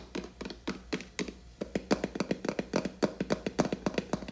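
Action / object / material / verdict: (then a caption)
tap / plastic cream jar with screw lid / plastic / none. Long acrylic nails tap and scratch the lid and body of a large, apparently full, blue plastic Skala hair cream tub with a black plastic screw lid. A quick, uneven run of dry plastic clicks with a hollow, low-mid thunk stops dead without ringing, with faint scratching between the taps. The taps grow louder and denser partway through.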